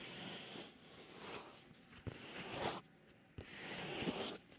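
A black fingerless leather driving glove with holes rubs, scratches and presses against the white silicone ear of a binaural microphone at close range. Soft, bright rustling and scratching swell and fade in waves, with two sharp pressing knocks breaking through.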